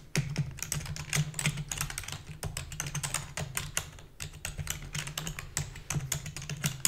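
Rapid typing with long fingernails and fingertips on a full-size black plastic keyboard with a hollow body gives a fast, uneven stream of sharp, bright plastic clicks and clacks. A steady low hum runs underneath the whole time.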